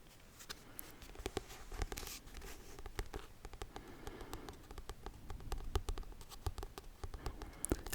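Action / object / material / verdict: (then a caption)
tap / paper book with cover / paper / none. A copy of the book Sea of Tranquility is tapped with short fingernails, giving a quiet, irregular patter of soft, dry taps with a faint scratchy texture. The taps stop almost instantly and are mostly low and dull.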